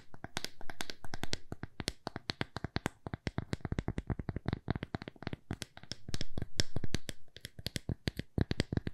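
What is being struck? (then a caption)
Thin plywood coaster. A small, thin, solid square plywood coaster held in the palm is tapped rapidly with long fingernails. Dozens of quick, dry clicks with a dull, low body fall in uneven bursts and flurries, each dying away almost instantly.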